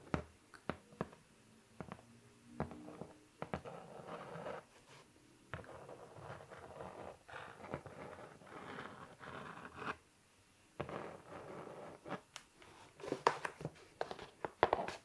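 Fingertips and nails of a hand wearing rings scratch and tap the front face of a flat, light, hollow brown cardboard shipping box printed with LE LABO and a white label, held upright. Soft, dry scratching and rustling runs in bursts, broken by sharp hollow taps and a brief quiet pause, with a few brighter, louder clicks toward the end.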